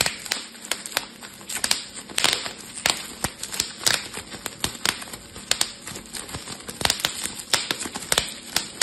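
A small, bunched piece of clear, air-filled plastic bubble wrap is squeezed between fingertips and thumbs, popping the bubbles. Sharp, bright pops and snaps crackle irregularly throughout, with crinkling rustle of plastic between them and almost no low end.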